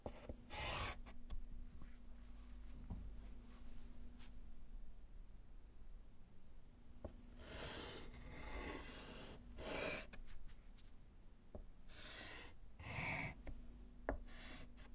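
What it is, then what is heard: Chalk writing on a slate board. Gloved fingers hold white chalk and scratch-write letters on a small, solid slate chalkboard with a wooden frame lying flat. Bursts of bright, raspy chalk strokes come in short runs with quiet gaps, over a faint, steady low hum. The strokes stop sharply with almost no ring.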